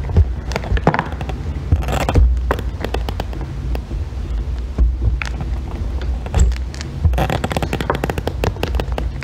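A thin metal extractor tool shaves a solid green bar of soap, producing curls. The result is a dense, crackling scrape with many sharp snaps and bright flicks over a heavy low rumble, with louder bursts near the start, middle and end.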